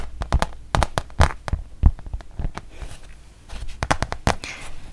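A thin, solid printed rubber-backed fabric mouse pad is held close and tapped along its surface and edge with long nails. The result is a quick series of dry, sharp taps with a low thump beneath them and almost no ring. A few soft scratchy brushes fall between the taps.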